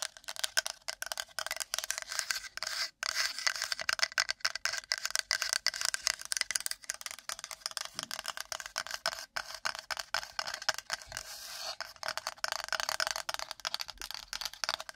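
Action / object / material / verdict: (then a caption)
scrape / flat wooden plate scratched and tapped with long fingernails / wood / none. A shaped, flat, solid, light wooden plate is held up in front of the microphone and rapidly scratched and tapped on its face with long nails. The result is a continuous stream of rough, dry, bright clicks and scrapes with almost no low end and no ring after each hit.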